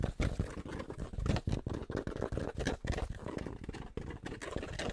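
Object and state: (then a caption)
Fabric baseball cap. Fingertips tap quickly on the fabric crown of a grey Penn State baseball cap held upside down. The result is a rapid, continuous patter of soft, muffled thumps that are mostly low and dull, with very little bright content and almost no ring after each tap.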